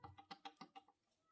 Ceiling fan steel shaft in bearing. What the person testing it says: जब ऐसे हिलाओगे और आवाज आए इस प्रकार से, समझ लो शाफ्ट कटी हुई है